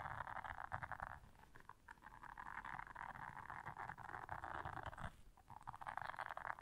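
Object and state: Silicone scrubber pad.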